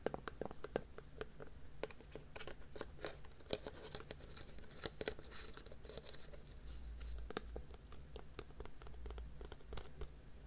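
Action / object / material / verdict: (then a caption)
scrape / plastic tub with lid / plastic / none. A white plastic tub with a red printed lid is held on its side next to the mic while fingernails scratch and tap its lid and rim. Quick, dry clicks and scratchy rasps with a hollow, mid-pitched knock and very brief ring come in a steady stream over a low, constant hum. A faint bright hiss rises briefly in the middle.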